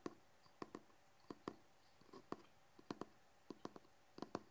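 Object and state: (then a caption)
Hardcover book. Fingertips and short fingernails tap and scratch the cover and edge of a large, solid hardcover book with a red cloth/cardboard cover and gold lettering. Short, dry, quiet clicks with a low-mid body and very little ring come in a loose rhythm, with some taps falling in close pairs. Faint scratchy rustles sit between the taps.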